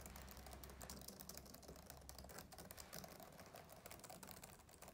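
Fingertips of both hands tap and type on the plastic keyboard of a black laptop, producing a quiet, steady stream of soft, rapid clicks with bright, crisp tops. A low, steady hum sits underneath the tapping throughout.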